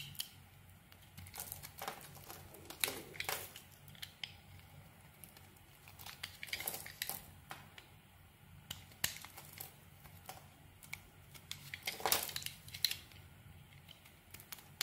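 A metal blade scrapes and carves the surface of a solid, translucent brown, palm-sized bar of soap held in the hand, shaving it into small crumbly flakes. Soft, dry, crackling scrapes come in irregular bursts, with bright, crisp crunching over a quiet low hum.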